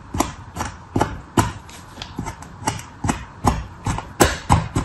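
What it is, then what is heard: Kinetic sand slab being scored. A red plastic sculpting knife, held in the fingers, is drawn across a flat, pressed slab of dark red kinetic sand resting on a paper surface. It scores lines into the solid, soft sand with short, repeated scratching strokes. Each stroke gives a soft, low-weighted scrape with a brief bright edge that fades quickly.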